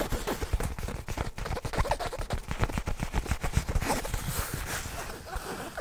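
Fingertips scratch, rub and handle a soft, hollow black nylon fabric bag held close to the microphone. The result is a dense, continuous crackling rustle of quick scratchy bursts with a heavy, thumpy low end and little bright content.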